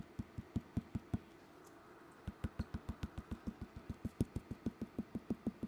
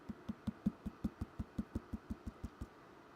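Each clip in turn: First: leather-hard clay bowl, thick upper wall. Second: leather-hard clay bowl, thinner at the bottom.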